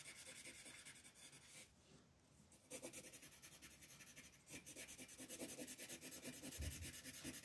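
A yellow wooden colored pencil is rubbed in dense shading strokes over a flat sheet of white paper with a floral print on a coloring page. It makes a quick, steady run of bright, scratchy rasping strokes. The strokes pause briefly for about a second near the two-second mark, then resume slightly louder to the end.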